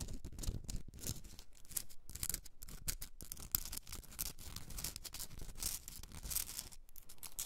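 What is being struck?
Rock salt candle holder.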